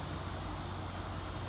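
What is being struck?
Nothing is struck.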